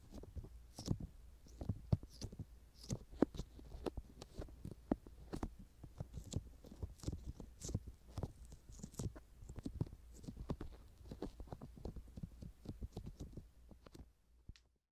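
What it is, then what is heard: Silicone ear microphone cover being rubbed. A palm-sized, soft, skin-coloured silicone ear with a mesh mini microphone in its canal is folded, squeezed and rubbed by two hands' fingertips and thumbs in an ear massage. Close, low, muffled rubbery thumps, squishes and soft crackles patter densely throughout. A few faint bright rustles sit above them, and the sound fades to near silence at the very end.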